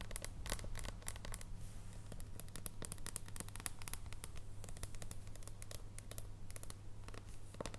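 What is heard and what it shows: An unwrapped solid dark chocolate bar, held in both hands, is tapped with long painted nails. Quick, irregular, light clicking taps with bright high edges play quietly over a steady low hum throughout.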